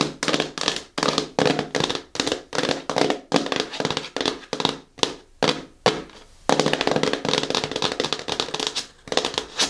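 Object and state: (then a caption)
Cardboard shoe box tapped with nails. Long fingernails tap repeatedly on the top face of a closed, hollow, medium-size black glossy cardboard "KICKS" shoe box. The rapid, crisp, hollow taps come in quick bursts with short pauses, brighter than they are deep, and each tap dies away almost instantly. After a few sparser single taps midway, a denser stretch of steady tapping follows.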